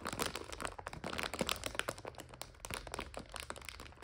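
Long nails scratch and press a full plastic egg noodle bag resting on a couch. The result is a dense run of sharp, crackly crinkles and rustles with bright edges and a low hum underneath, with no ring after each snap.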